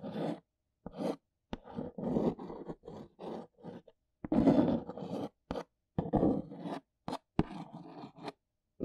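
A long nail traces the printed logo and scratches the face of a large brown cardboard box. Short, dry scraping strokes come in separate bursts with brief silences between them, mostly in the low-mid range with little ring after each stroke.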